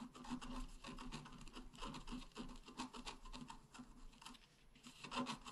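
A pointed wooden stylus scratches across a flat, black-coated scratch art card about A4 in size. The result is a soft, continuous rasping and rubbing made of many short overlapping strokes, with a faint low hum under the bright scraping texture.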